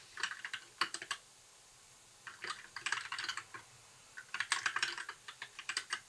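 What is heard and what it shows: Fingertips of both hands type on a compact white mechanical keyboard with backlit plastic keycaps, in three bursts separated by short pauses. The keystrokes are crisp, bright plastic clacks that die away almost instantly, with no low-end thump.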